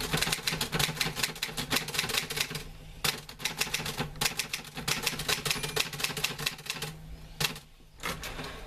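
A green-grey metal portable manual typewriter with paper loaded is typed on by fingertips, and a hand pushes the carriage return. Rapid, bright clacking keystrokes come in bursts with brief pauses and a steady low hum underneath.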